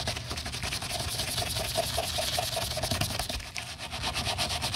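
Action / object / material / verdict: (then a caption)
scrape / rubber sneaker midsole scrubbed with a bristle brush / rubber / none. A gloved hand scrubs the cream rubber toe and midsole of a canvas sneaker, held upright, with a white-bristled plastic toothbrush over light paste residue. The sound is a steady, bright bristly hiss of rapid back-and-forth strokes, with a soft low rumble underneath throughout.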